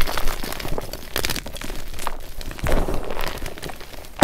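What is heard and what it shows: Fingers squeeze and crush broken chunks and powder of white magnesium carbonate gym chalk in a glass bowl, then break a remaining block by hand. Dense, dry crunching and crackling crumbles on throughout, with louder crisp snaps near 1.2 and 2.7 seconds.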